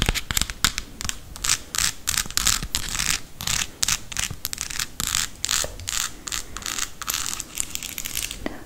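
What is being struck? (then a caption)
Small painted wooden toy ice cream cone. Long acrylic nails tap and scratch a small, solid, painted wooden toy ice cream cone held in the hand, working over the textured scoop and the cone. Rapid, crisp clicks and dry, bright scratching bursts follow one another almost without pause, with short, close-miked strokes that stop dead.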